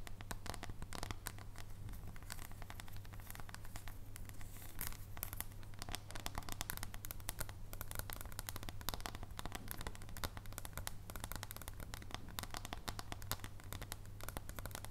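Long nails tap rapidly on a solid dark chocolate bar held on its edge, making a dense run of short, crisp clicks. Sharp, scratchy ticks sit over a steady low hum at a quiet level, and each tap dies away almost instantly.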